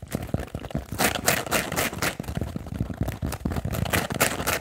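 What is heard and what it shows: Fingernails tap and scratch quickly on a foam kitchen sponge with a blue scouring layer. Rapid, uneven soft thuds mix with bright, crinkly scraping bursts that fade almost at once.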